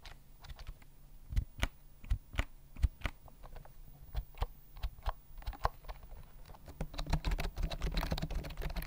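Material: Plastic.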